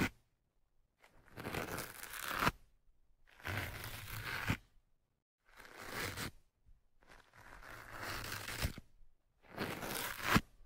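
A thin metal pick pokes down into the top of the soft, porous black foam windscreen on the right microphone and scratches it. Five separate bursts of dense, scratchy crackling and rustling, like tearing, come through with silence between them. The sound is broad and bright, and each burst ends abruptly.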